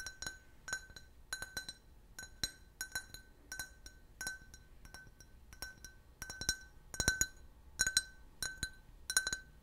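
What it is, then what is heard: Glass can-shaped drinking glass. A clear, hollow, empty can-shaped beer glass with a printed logo is tapped with fingernails in quick bursts of clinks. Each tap gives a short, bright glassy chink with a steady ring near 1.5 kHz and sparkling high overtones that fade almost at once, spaced in loose, uneven clusters across the clip.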